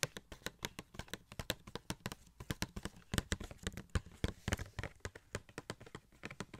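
Fingertips rapidly tap and scratch a small hollow cardboard Funko Pop box with a plastic window, held in hand with a gold Shuri figure inside. Dozens of quick, dry taps land in an uneven rhythm, each with a soft hollow low thump and a bright clicky edge that stops at once with no ring.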